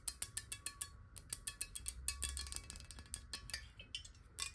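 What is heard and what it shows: A clear square glass water bottle, held in the hands, is tapped quickly with long nails on its corners and sides. Crisp, bright clicks with a short glassy ring come in a steady rhythm, then crowd together into a denser patter over a faint low rumble.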